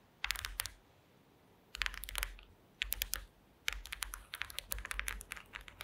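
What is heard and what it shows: Long acrylic nails tap and scratch across a flat woven placemat made of small wooden slats. Quick, dry, bright clicking taps come in short bursts separated by brief pauses, then continue more steadily toward the end. Each tap dies away almost instantly.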